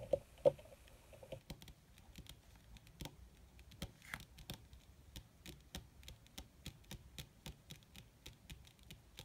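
Long red nails on both hands fast-tap a crumpled black leather (possibly faux) sheet. The result is a quick, uneven patter of short, dry clicks with almost no ring. Two louder taps and a faint low hum open the clip.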